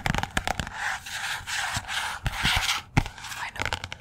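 Long nails tap and scratch the glossy cover of a "Persepolis" paperback book, which sits partly behind the microphone. Sharp, fast taps alternate with bright, hissy scraping strokes across the cover, each tap dying away almost at once.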